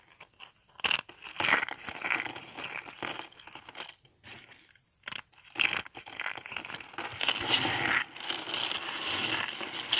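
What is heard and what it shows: Thin, dry pink soap flakes are crushed between fingertips and rubbed. The result is bright, crisp crinkling and crunching in irregular bursts with almost no low end, pausing briefly near the middle before the crackling resumes more densely.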